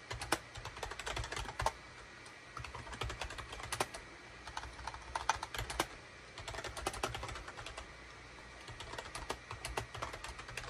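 Fingertips of both hands type rapidly on a gray SHIPADOO K600 full-size wired USB keyboard: a hollow gray plastic case with cream, gray and orange plastic keycaps, resting on a desk mat. The sound is dense bursts of short, bright plastic clicks and clacks with a low thud underneath, broken by brief pauses between runs of typing.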